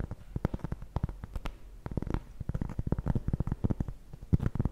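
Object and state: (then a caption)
Cork trivet tapped with nails. A solid, flat round cork trivet is held up and scratched and tapped with long nails. The result is a rapid, irregular stream of short, dull, low thuds with soft scratchy texture between them, each tap dying away almost instantly.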